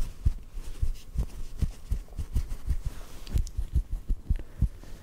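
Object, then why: Cotton ball. Soft fingertip taps on a small white cotton ball held in the fingers produce a steady run of muffled, low thumps. Each tap is dull and brief, with almost all its energy in the deep low range and no bright high end.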